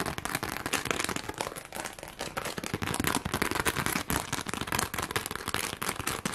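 Long glittery acrylic nails rapidly scratch and tap a flat, thin, hand-sized pink sheet covered in rows of plastic rhinestones, held up in the air. The result is a dense, continuous stream of sharp plastic clicks and crackly scratching, bright and fast like popping firecrackers, with no pauses throughout.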